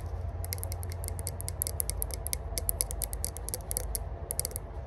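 A small hollow rose-gold metal herb grinder with a cut-out side section is tapped and scratched on its lid and sides by long burgundy nails. Rapid, bright, clicking ticks come in quick bursts over a steady low rumble.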